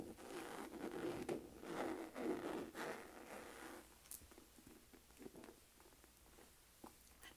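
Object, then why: Textured leather crossbody purse. Long nails scratch across the pebbled surface of a hollow, medium-size black saffiano leather crossbody purse, giving a dense, raspy rustle for about four seconds. The sound then drops to quieter, scattered taps with sharp, bright clicks on the textured leather.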